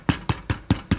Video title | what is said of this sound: Fabrication pain maison | quand ça sonne un peu creux comme ça l'air trop beau c'est que c'est bon on est cuit